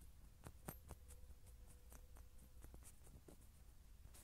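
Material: Metal.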